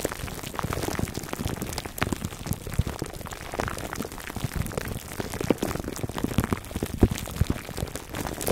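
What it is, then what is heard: Plastic-wrapped foam microphone cover. Fingertips scratch the sides of a foam microphone cover wrapped in clear plastic, producing a dense, continuous stream of close crinkling and scratching. The sound is mostly low and muffled, with many quick clicky pops scattered throughout and brief bright flecks on top.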